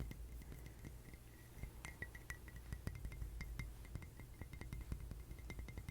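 A ceramic mug is tapped quickly and repeatedly, giving dense, dry, short clicks that stop almost at once, each with a faint bright ring near 2 kHz. A steady low hum sits under the quiet tapping throughout.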